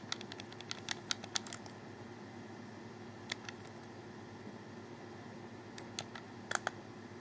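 A hollow black plastic Xbox 360 controller is held in both hands while fingers press its buttons and D-pad area, giving fewer clicks than in busier stretches. Short, bright plastic clicks come in a quick cluster over the first second and a half, then a pair near the middle and a few more toward the end. They die away at once over a faint, steady low hum.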